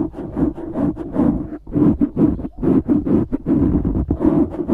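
Fingertips scratch and squeeze the sides of a black foam windscreen on a microphone. A steady run of close, muffled rubbing and crackling bursts follows, with brief gaps between strokes. The sound is dull and low-mid, centred around 300 Hz, with almost nothing bright on top.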